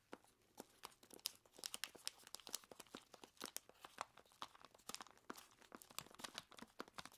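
Long plastic claws squeeze and scratch a large clear plastic bag full of ice cubes, crunching the ice inside. The result is a quiet, dense run of sharp crinkles, scrapes and crunches, bright and crisp with almost no low end and no ringing between the clicks.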